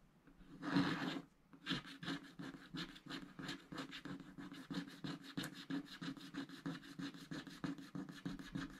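A wooden stylus scratches a giraffe shape into a thin, black wax-coated scratch art card in long strokes while the other hand rests on the sheet. After one louder opening stroke, a steady run of dry, raspy scratching and rubbing strokes follows, with a bright, papery texture.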